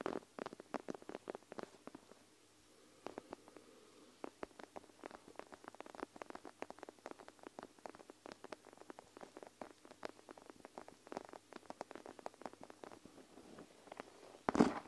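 Long nails tap and scratch the clear plastic bead pockets of a panda gel-bead plastic eye mask laid over the recorder. Dozens of quick, quiet, crisp clicks and scratches follow in an uneven patter with a brief lull near the two-second mark, ending in a louder rustling burst.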